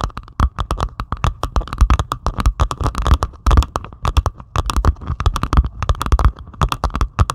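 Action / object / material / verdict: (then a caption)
scrape / resin-drill diamond painting on canvas / plastic resin / none. Long, pointed acrylic nails scratch rapidly across the beaded surface of a flat diamond painting made of plastic resin drills on canvas. The result is a dense run of short, dry, crackly scrapes and ticks with low thuds underneath, each one dying away almost instantly.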